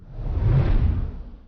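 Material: Nothing is struck.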